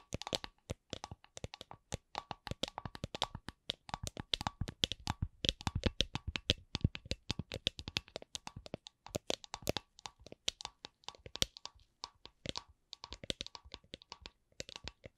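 Long glittery nails tap a clear, hollow, empty plastic drink shaker held sideways, striking both its body and its base. Dozens of short, dry, clicky taps come in quick runs separated by brief pauses, each dying away almost instantly. The taps carry a bright plastic tick around 3.4 kHz over a light hollow knock.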